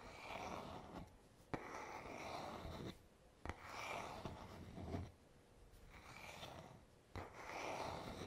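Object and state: Wooden hairbrush back, scratched.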